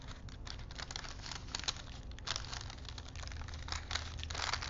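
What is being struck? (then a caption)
Thin paper strip on wooden spools. A thin printed paper film strip stretched between two wooden dowel spools is wound by hand, its paper rubbing and crinkling. A steady, close run of crisp, bright crinkles and soft scratchy rustles plays over a low hum. Sharper crackles pop out now and then.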